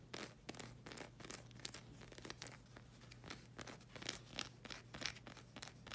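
Long red acrylic nails scratch and tap the solid black rubber sole of a slide sandal, making a quiet run of dry, crinkly scratches and bright clicking taps. The sound is broadband and high, with a steady low hum underneath.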